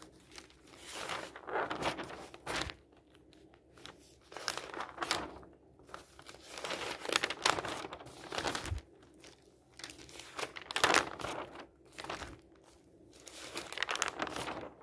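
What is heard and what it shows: Bare fingers grab and turn the pages of a large, thin, empty newsprint newspaper lying open on a wooden table. Each turn brings a burst of bright, papery crinkling and flapping with almost no low end, separated by short quiet pauses.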